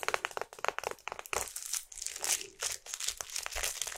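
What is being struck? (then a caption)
Small printed cardboard box. Long acrylic nails tap and scratch a small, hollow, printed cardboard box of fruit bars held in both hands. Quick, dry, bright clicks come first, then longer scratchy, crinkling strokes across the cardboard. The taps and scrapes are crisp and close, with little low-end body and almost no ring.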